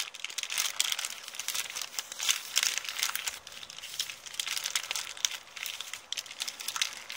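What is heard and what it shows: An empty printed kraft paper shopping bag with blue print is scratched with long nails, then scrunched up in both hands. Dense, bright crinkling and crackling fills the clip in quick bursts, with almost no low end.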